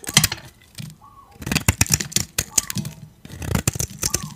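A metal blade scrapes powdery flakes off the surface of a solid white dry soap bar held in the hand. Dry, crunchy scraping comes in quick bright crackling bursts with brief quiet gaps between strokes.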